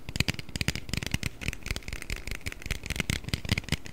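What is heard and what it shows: An aluminium Red Bull can, held partly hidden behind the microphone, is tapped and scratched with fingernails. A rapid run of short, dry clicks and taps with a low thump sits under bright, scratchy metallic ticks, each dying away almost instantly.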